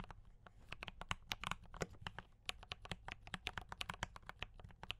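Both hands type continuously with fingertip taps on a compact D84 mechanical keyboard with brown switches and cream and red plastic keycaps. The result is a rapid, uneven stream of short, sharp clacks, each with a bright top and a soft low thud, that stop dead with no ring.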